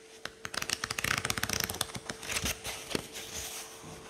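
A thumb riffles quickly through the many thin paper pages of a paperback book in one continuous flick. It makes a rapid run of crisp, bright paper flutters and ticks that thin out and fade, with a faint steady tone beneath.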